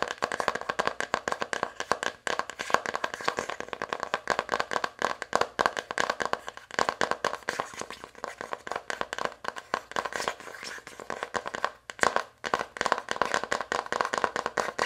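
Long acrylic nails tap and scratch rapidly along the lid edge of an open navy cardboard eyeshadow palette. The result is a dense, dry stream of clicking and scraping centered in the midrange, with very little low end and almost no ring after each tap. Brief pauses break the stream around 2 and 12 seconds.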